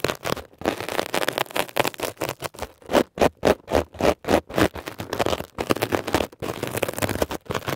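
A metal ear pick scratches quickly across a textured, blue mesh-covered foam scrub sponge. Dense, rapid scratching strokes come in irregular bursts with short gaps between them, each a dry, raspy scrape with a mid-range body and bright hiss that stops dead with no ring.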